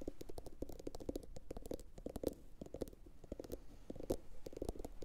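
A medium, hollow, empty blue glossy bowl, likely ceramic, is turned upside down and tapped with long pointed acrylic nails from both hands. The result is a quick, steady run of short, dry clicks with a hollow mid-range tone near 490 Hz, each dying away almost instantly. The level stays quiet throughout, with a few brighter taps.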